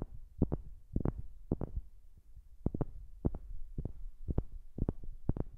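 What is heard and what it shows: Fingers tap on a wooden object, recorded close on a new microphone, making quick, dull, low taps that often come in pairs. Each tap stops almost at once, over a steady low hum.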